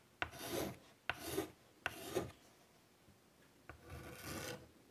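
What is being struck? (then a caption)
Chalk on a wood-framed chalkboard. White chalk draws vine and leaf lines across a large wood-framed chalkboard, making a strong scratching rasp. Four separate strokes are heard. Each opens with a sharp tap as the chalk meets the board, then runs into a bright, broad scrape.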